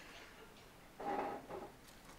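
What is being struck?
Nothing is struck.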